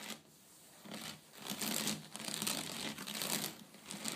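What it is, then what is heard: Woven wicker tray. Long blue nails tap and scratch along the weave of a flat woven wicker (rattan) tray with both hands. The result is soft, dry, crackly scratching in uneven bright swells, mostly high-pitched with little low end.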